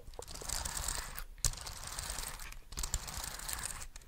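A small black plastic wireless keyboard is held up close to the microphone while its keys are tapped and pressed with the fingertips and its body is rubbed. The result is a dense run of quick, dry plastic clicks over a steady bright rustle, with a sharper louder tap near the middle.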